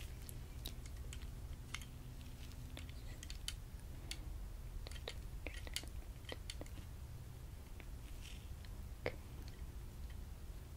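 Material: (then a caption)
Plastic. A latex-gloved fingertip taps and presses the central white plastic block of a hand-held white plastic vision-test device, a frame with a hollow housing and small sliding parts, held close to the microphone. Sharp, quiet clicks and light crunchy taps with bright, brief edges sit over a steady low rumble.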